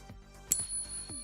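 A silver bullion coin, confirmed as real silver, is pinged once as a reference against Morgan dollars. It gives a single bright strike followed by a long, sustained high-pitched ring that carries to the end of the clip, the long resonance expected of genuine silver.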